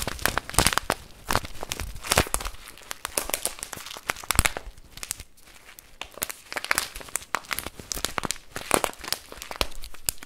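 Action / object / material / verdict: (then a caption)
shake / plastic bag of rice / plastic / none. A full, clear plastic bag of brown rice with a paper label is squeezed, crinkled and shaken in one hand. Dense, bright crinkling and sharp crackles come in bursts, with the rice grains shifting and rustling inside, and a brief quieter lull near the middle.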